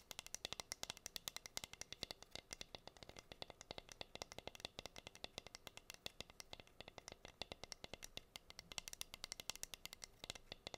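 Long green nails scratch and tap across the bare surface of a plain, flat, solid wooden heart-shaped cutting board. The result is a quiet, rapid, steady run of sharp, bright clicks with almost no ring, over a faint, dry scratching hiss.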